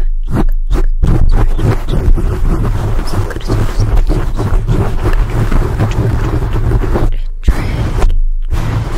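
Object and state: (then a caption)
Foam microphone windscreen being scratched. Fingertips of both hands scratch a black foam microphone windscreen, making a dense, deep, rumbling scrape that is almost entirely low-frequency with a steady low hum underneath. The scratching runs almost continuously, with brief gaps of near-silence near the start and again near the end.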